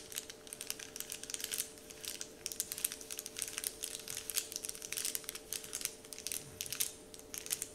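Fingertips scratch and crinkle a large, flat, heart-shaped Dove-printed paper candy wrapper sheet. The result is a steady stream of soft, bright, crackling rustles in quick, irregular bursts over a faint, constant low hum.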